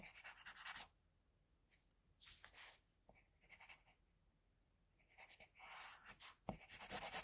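A pencil tip scratches short lines onto a flat white drawing sheet, shading the cheek and jaw. Bursts of bright, dry scratching come in quick strokes and alternate with near-silent pauses, and one sharper tap lands near the end.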